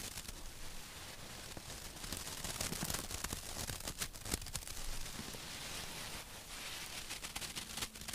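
Long acrylic nails scratch a small stuffed cushion with a burlap-like woven fabric cover and a fox face. The result is a dense, crackly rustle of many quick scrapes, broadband and bright, with sharper clicks where the nails catch the rough weave.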